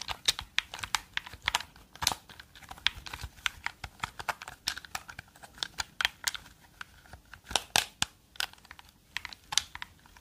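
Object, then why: Plastic game controller tapped with fingernails. Long dark fingernails tap and click the buttons and shell of a black and yellow hollow plastic gamepad held close to the mic. A rapid, irregular stream of sharp, bright clicks and taps fills the clip, with very little low end and almost no ring after each hit.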